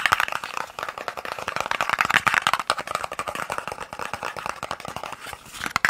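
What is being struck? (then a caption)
Small cardboard box. A small, hollow white-and-red printed cardboard eye-drop box, held in the fingers, is tapped rapidly with fingertips and nails. The result is a fast, continuous run of dry, papery clicks centered in the midrange around 1–2 kHz, with almost no low end and no ring after each tap.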